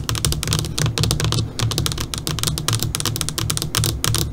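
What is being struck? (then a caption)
LCD computer monitor screen. Long, pointed dark purple fingernails on both hands tap rapidly across the surface of a switched-off, flat black LCD computer monitor screen. The result is a dense, steady stream of bright, typing-like clicks over a low, soft thump.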